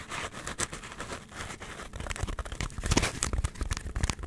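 Long nails scratch a hand-sized, solid block of white polystyrene foam, producing irregular, dry scraping and crinkly crackles with a squeaky edge. The bursts are short and close together, with bright hiss over a low rumbling body, growing busier and louder in the second half.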